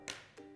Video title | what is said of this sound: Til Papdi Recipe - 2 Ways Sugar & Jaggery - मकर संक्रांति स्पेशल - Kunal Kapur Lohri Recipe | if it becomes like glass, meaning, when you drop it on the table, you'll hear a crackling sound